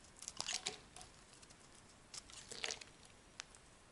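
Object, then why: Solid soap bar cut with a metal blade. A hand-held rectangular solid white soap bar is carved with a metal blade into smooth curling slices. Quiet, bright, crisp scraping and crackling comes in two short bursts, followed by a single sharp tick near the end, with faint hiss between.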